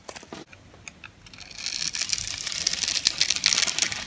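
A metal knife blade cuts and scrapes crunchy cubes off the cross-hatched surface of a green oval solid dry soap bar held in the hand. A few sharp, dry clicks open the clip, then build into a dense, bright, crackling crunch that grows louder toward the end.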